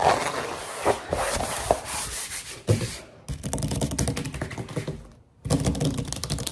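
Long painted nails and fingertips rapidly tap and scratch a soft, flat grey-green rubber or foam mat with a dotted textured surface lying on a wooden table. The result is a dense run of quick, dry ticks and scratchy rubbing with brief pauses near 3 and 5.3 seconds.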